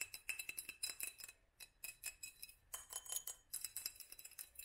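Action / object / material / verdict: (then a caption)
tap / small glass jar with studded sleeve / glass / none. Long nails tap rapidly on a small hollow glass mason jar with a black studded sleeve, held in one hand, striking both the glass and the studs. Quick, bright clinks and clicks come in quiet bursts with a brief pause in the middle, each tap ringing only briefly and carrying almost no low end.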